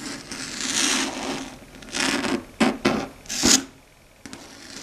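Long red stiletto nails claw and scratch across the flat dark grey matte surface of a solid chalkboard. A long, hissing rasp gives way to several short, sharp scratching bursts, bright and airy with a faint hum near 270 Hz beneath. A final light tick closes the clip.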